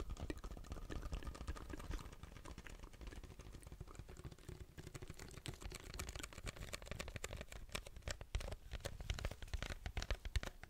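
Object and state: Paper drink cup with plastic lid.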